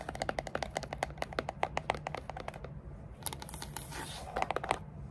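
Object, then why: Small rigid cardboard box with lid. Long dark nails tap quickly on a small, hollow, dark grey textured rigid cardboard gift box with a lid, making a run of short, dry, mid-pitched knocks. Partway through, the nails scratch along the sides and lid seam with a brighter, hissing rasp, then return to tapping.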